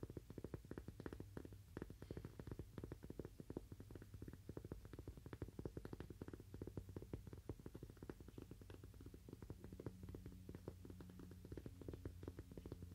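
Fingernails tap rapidly and continuously on a cork "Toaster Coaster" coaster. The taps are soft, dull and very short, with almost no ring. Most of the sound sits low, with a steady low drone underneath.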